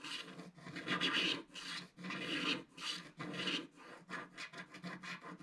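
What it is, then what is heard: Scratch-art paper page being scraped. A thin wooden stick scrapes the lower left of a flat, black-coated scratch-art paper page. Long, bright, rasping strokes with short pauses between them give way to quicker, shorter scratches toward the end.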